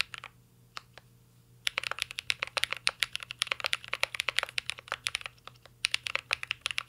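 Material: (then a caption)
Plastic. Fingertips type on a mint-green Cyberboard R3 mechanical keyboard with a metal case and plastic keycaps. A few scattered taps give way to a steady run of quick keystrokes. Each makes a short, bright, crisp clack that dies instantly.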